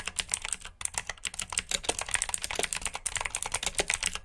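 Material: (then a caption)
Plastic. Fingertips with short nails type quickly on a full-size black plastic mechanical keyboard with RGB backlit keycaps, clicky blue switches and hollow key housings. About 25 sharp, bright clicks and clacks come in a steady, uneven stream, each dying almost instantly, with only a brief pause near the start.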